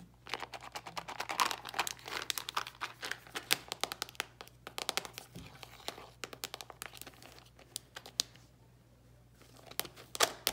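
Long pink nails and fingertips tap and scratch a small, round plastic Ice Breakers mint container with its lid closed as it rests on a grey towel. Rapid, crisp clicks and dry scratching crinkles fill the clip with bright, brittle detail. The sounds briefly thin out near the end before a final few sharp taps.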